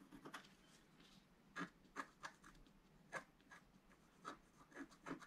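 A wooden stylus scratches hatch strokes into a pink planet on a flat, black-coated scratch-art card while the other hand steadies the sheet. A quiet series of short, dry, papery scrapes rises and stops abruptly, with brief bright rasps centered around 1.2 kHz.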